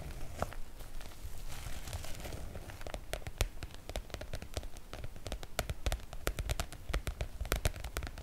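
Long nails scratch and tap the PVC-coated surface of a floral oilcloth make-up bag, producing crinkly sounds. A soft scratchy rustle in the first few seconds gives way to many sharp, bright taps and clicks over a low, steady rumble.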